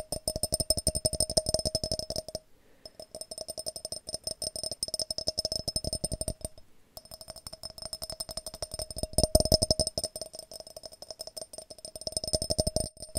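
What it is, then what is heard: Glass jar. A glass jar is tapped in fast, continuous flurries of short, dry clicks, pausing briefly twice. Each tap carries a faint glassy ring around 630 Hz with bright high overtones and dies away almost immediately.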